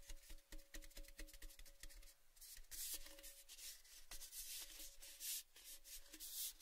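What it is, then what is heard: Empty painted metal tin, hollow. An empty, hollow, orange-painted metal Baileys tin canister, a cylinder held in both hands, has fingertips and nails rubbing and scratching along its side. Quick ticking taps ring with a short hollow metallic tone, mixed with bright, hissy scraping that swells and fades in waves.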